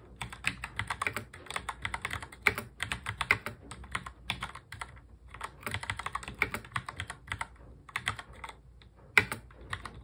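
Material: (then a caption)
Plastic. Fingertips of both hands touch-type quickly on a full-size black plastic mechanical keyboard. The result is a rapid stream of short, bright, clicky keystrokes in bursts separated by brief pauses, with a few sharper, louder key strikes standing out.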